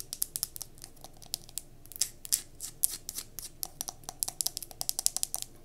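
Long nails rapidly tap and scratch the glass of a mason jar candle filled with solid wax, which is held and then set down. The sound is a fast run of bright, dry clicks with short scratchy bursts between them, and each tap dies away at once with no ringing.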